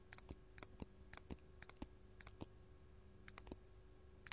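Long gold metal claw nails tap on a large, solid, faceted purple artificial glass crystal gem in close-up. The result is quiet, sharp, bright clicks in quick irregular pairs and clusters, with a dull low thump under each tap and almost no ring.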